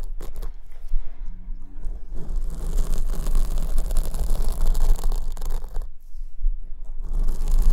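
Long almond-shaped acrylic nails scratch the surface of a large black open-cell foam windscreen on a silver condenser microphone (the right mic), held in place by one hand. The result is a dense, continuous, bright scratching and rustling over a low rumble, with a brief quieter dip around the six-second mark before it swells again.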